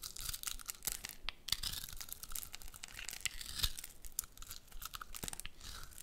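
A metal utility blade cuts and scrapes small flakes and cubes from a hand-sized, solid pale pink soap bar with magenta speckles, held in one hand. The result is a quiet, steady run of crisp, bright scraping and crunching strokes with short, sharp clicks and no lingering ring.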